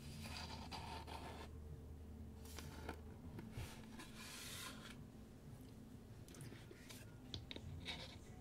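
Fingertips and nails tap and scratch the wooden sides of a small, hollow light-wood box with a metal latch, held in the hands. Quiet, steady scratching and rubbing carries bright, hissy bursts and a few soft, dull taps over a low, constant hum.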